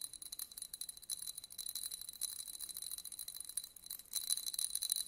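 A thin white stick scratches across the pyramid studs of a small, hollow, empty yellow glass votive candle holder held in the hand. It makes a quiet, rapid, uneven stream of bright, dry ticking clicks with no low end, growing louder toward the end.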